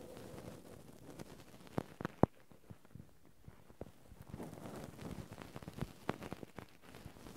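Two cotton swabs scratch and rub steadily across the metal mesh microphone grille of a Zoom handheld recorder. The result is a close, low, muffled scraping and rustling texture broken by sharp, short clicks and taps.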